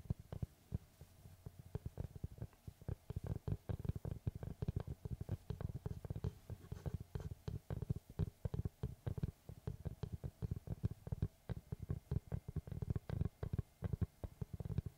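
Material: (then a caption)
Wood. Fingertips tap and scratch the face of a large, round, solid wood tree slice with a bark rim, held upright. A rapid, steady run of soft, dull, low knocks with very short decay continues throughout, mixed with faint scratching.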